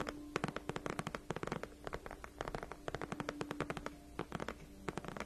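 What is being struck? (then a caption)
Padded faux leather chair backrest. Long nails of both hands scratch across the large padded backrest of a white faux leather gaming chair. The result is a quick, uneven run of short, dry, crackly scratches with bright edges and almost no ring, over a faint steady low hum.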